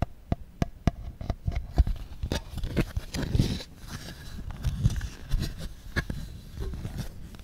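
Fingertips tap and rub an empty, thin, clear plastic insert tray from Apple iPhone 1 packaging. A run of sharp, dry taps at the start gives way to soft, crinkly rubbing mixed with more taps. The sound is mostly low and hollow, and each tap dies away almost instantly.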